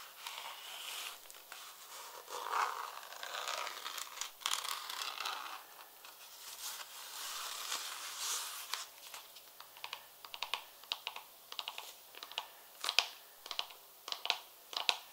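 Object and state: Leather high heel pump.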